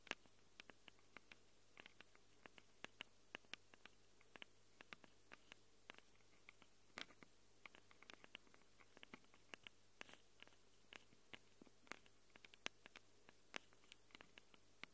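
Long glitter nails rapidly scratch the metal mic capsule rings of a small black handheld Tascam recorder. About sixty quick, dry, bright clicks and scrapes tick out unevenly over a faint, steady low hum. Each stops almost instantly with no ring.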